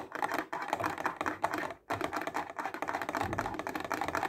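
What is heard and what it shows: A clear plastic box full of highlighters is held up close and tapped fast with the fingertips and nails. The result is a dense, rapid run of crisp plastic clicks centered in the midrange near 860 Hz. The tapping breaks off briefly just before the two-second mark, then resumes.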